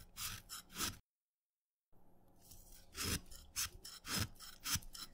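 A steel knife blade shaves crumbly layers off the end of a small, solid, wet orange chalk piece. Each stroke makes a bright, gritty scraping rasp, and the strokes come in irregular bursts with a short silent pause near the start. Each rasp ends almost at once, with no ring.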